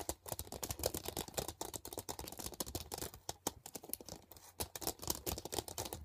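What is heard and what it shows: Long painted nails rapidly tap and scratch on a thin, flat, transparent hard plastic CD case lying on a blanket. The result is a quiet, dense stream of quick, crisp clicks and bright scratchy rasps. Each sound stops almost instantly, with no ring.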